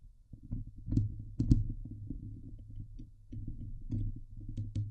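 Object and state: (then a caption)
Metal mesh microphone grille. Fingertips and nails of both hands scratch the hollow steel mesh dome grille of a Blue Yeti microphone. The sound is a close, dense, low rumbling scrape, with brief bright clicks standing out at irregular moments.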